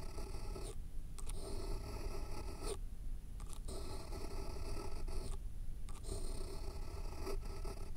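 A pen tip scrapes and scribbles across the top sheet of a thick, solid stack of white paper resting on a foam block. It makes a steady, low, scratchy rasp with a few brief pauses as the strokes change.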